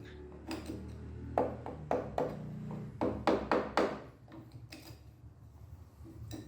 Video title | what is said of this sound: ซ่อมวงกบประตูห้องน้ำผุ | ถ้า เสียงมันโปร่งๆก็แสดงว่ายังมีส่วนที่ผุอยู่